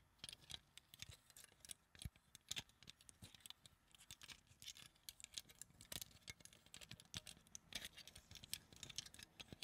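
A small translucent pink acrylic flower-shaped hair claw clip with hollow petals is held in both hands and tapped with long dark acrylic nails. The result is a quiet, rapid, uneven stream of bright, dry plastic clicks and light scratches, each dying away almost instantly.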